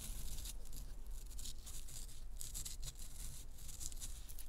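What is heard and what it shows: Long acrylic nails scratch and scrape the surface of a solid, fist-sized pressed powder bath bomb, shedding powder as they go. Bright, dry rasping strokes come in quick, uneven bursts over a steady low hum.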